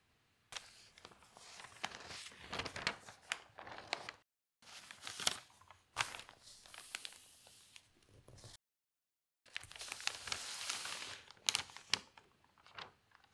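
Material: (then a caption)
Paper. Fingertips with long nails turn a page of an open newsprint newspaper and press it flat, crinkling the paper. Quiet, bright rustles and sharp crackles come in three bursts separated by brief silences, with almost no low end.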